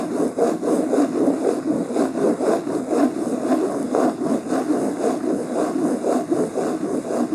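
Fingernails rest on and scratch the cover of a beige linen cloth-covered hardcover book lying flat, producing a steady, fast back-and-forth raspy scraping. The strokes pulse at a loose rhythm, with a dense mid-range texture around 250 Hz and a faint bright hiss above.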